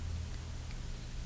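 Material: Nothing is struck.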